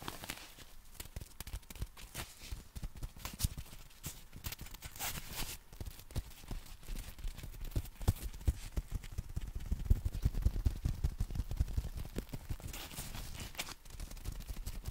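Fingertips scratch and tap the canopy fabric of a folded compact black nylon umbrella. The result is a steady stream of quick, dry, irregular taps with a soft, low, thumping body, threaded with brief bright scratchy rustles.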